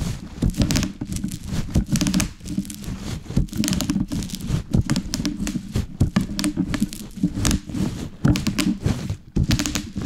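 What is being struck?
Plastic bubble wrap on a wooden board.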